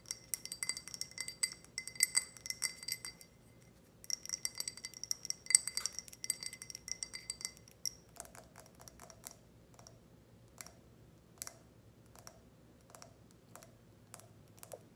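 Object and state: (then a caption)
Ridged glass tumbler. A tall, empty, clear ridged glass tumbler is tapped with long red nails, making rapid, bright clinks in dense bursts with a brief pause near the three-second mark. After about eight seconds the tapping slows to sparser, slightly duller ticks. Each tap rings only briefly and stays high and glassy.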